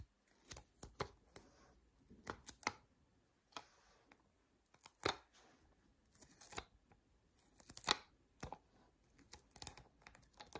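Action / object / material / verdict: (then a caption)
tap / adhesive paper lint roller with plastic handle / paper / none. Long nails tap and scratch the white adhesive paper roll of a hand-held lint roller, which sits on a hollow core with a black plastic handle and is held in the hand. About 14 short, bright, papery taps and scratchy crinkles come at an irregular pace. Each is quiet and dies away almost instantly.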